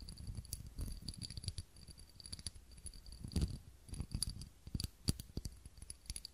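Fingernails tap the sides of a small, clear, textured glass cup holding a lit tealight candle, held close to the microphone. A quiet, irregular run of short, dry taps comes through mostly as soft low knocks with faint bright clicks, each dying away almost at once. A few louder taps stand out toward the end.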